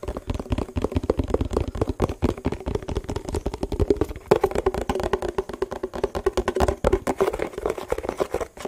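A hollow, empty yellow printed plastic food tub is held in the hands and tapped with the fingertips on its sides and bottom. Rapid, uneven streams of short, dull taps each carry a hollow resonant tone around 420 Hz over a soft low thump. The taps die away almost instantly.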